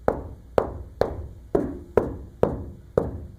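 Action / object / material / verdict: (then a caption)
tap / coated steel roof panel / coated steel / damped. A steel roof panel coated on the inside with about 40 mils of Lizardskin sound-deadening coating, dried for two days, is tapped seven times at a steady pace. Each tap gives a short, dull mid-pitched thud that dies away almost at once. The coated panel sounds well damped, with the coating said to cut the sound by over 10 dB.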